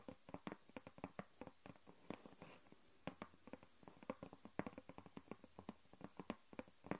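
Long nails tap and scratch a flat grey cardboard sheet lying on a wooden table. About 31 quick, dry taps with almost no ring are heard, with a brief soft scratching passage around the middle. The sound stays quiet and low-mid in tone.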